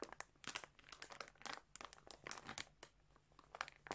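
Fingertips press and rub a large clear plastic bag filled with balls of colourful yarn lying on a surface, crinkling the plastic. The result is a quiet stream of bright, sharp crinkles and crunches in irregular bursts, each dying away almost at once, over a faint low hum.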